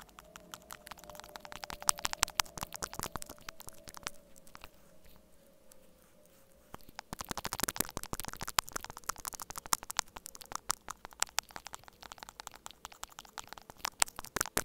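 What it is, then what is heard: Plastic earphone inline mic remote. Two small metal spatula- and spoon-tipped tools, held in the fingertips, continuously scratch and tap both ends of a small, hollow white plastic inline mic remote from wired earphones; the remote is taped flat to a dark table and is itself the microphone capturing the sound. It produces dense, rapid, bright clicks and scraping ticks over a faint steady tone, with a quieter stretch of softer scratching in the middle before the sharp tapping returns.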